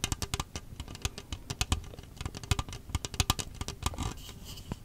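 Long acrylic nails tap and scratch the ridged outer wall of an empty, hollow red plastic disposable party cup held upright. It makes a rapid, irregular run of sharp clicky taps, each with a bright top and a dull low thump that dies away almost instantly. Toward the end, a softer, hissy scratching drifts in between the taps.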